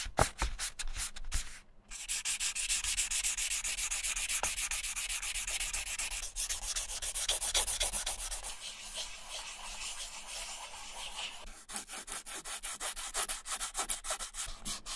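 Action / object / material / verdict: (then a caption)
scrape / leather shoe sole / leather / none. Fingers rub a small piece of sandpaper back and forth over the flat leather outsole of a silver Repetto ballet flat. The result is a steady train of quick, bright, scratchy sanding strokes, with a brief pause just before 2 seconds and sharper, more distinct strokes toward the end.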